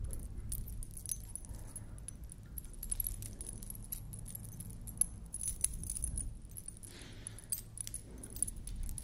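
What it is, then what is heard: Beaded collar necklace with metal dangles. A large beaded Maasai-style collar necklace with hanging metal discs is held up and moved by hand while long nails flick the discs. The discs jangle with bright, quick metallic clinks throughout, over a steady low rumble.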